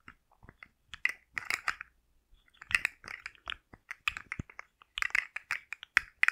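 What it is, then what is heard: Plastic articulated slug toy. A hand-sized rainbow fidget slug made of hard plastic with hollow jointed segments is held in one hand, flexed and tapped with long manicured nails. It makes quick, dry, bright clicks and clattering segment rattles in uneven bursts and single taps, with no ringing after each hit.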